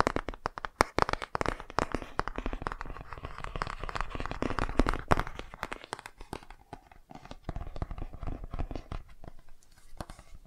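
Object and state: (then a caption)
Cardboard board book cover. A hardcover children's touch-and-feel board book with a solid, flat laminated cardboard cover is held upright in both hands while fingertips and nails tap and scratch the front cover. Rapid, irregular dry taps and crackly scratches follow one another closely, with sharper clicks standing out around the first and fifth seconds. The scratching thins out and grows quieter in the second half.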